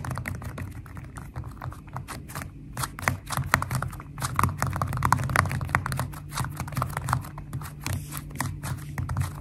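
Long nails and fingertips tap fast on a flat purple glitter slime with foam beads, making a rapid stream of crisp, bright clicks and soft pops. Each tap is short and dry, over a steady low background hum.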